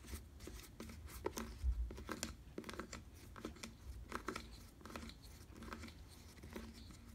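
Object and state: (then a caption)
Faux leather bicycle saddle. Fingers scratch and rub the rounded nose and underside of a black faux leather bicycle saddle. Quick, dry scratching and brushing strokes repeat unevenly over a low, soft rumble, with faint bright edges on the sharper strokes. Each stroke stops almost at once, leaving the sound quiet and close.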